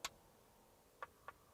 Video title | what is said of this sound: WHY TRANSIST IN ROBBERY FAILED | if i tap it you can hear the difference